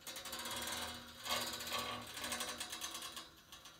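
Fingertips and nails scratch and strum along the thin metal fins on top of a large white painted steel panel radiator. The result is a quiet, bright, rapid ticking rattle, like a ratchet, with a louder burst midway before it fades.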